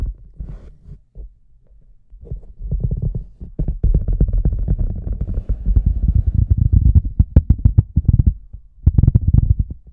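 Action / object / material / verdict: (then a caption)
tap / large rubber boot / rubber / none. A microphone sits inside a large hollow red rubber boot while fingers tap its rim, then tap and rub the toe area. The result is a deep, boomy series of muffled thumps and rubbing sounds that swell louder and denser. Almost all the energy sits in the low range, with no high or bright content.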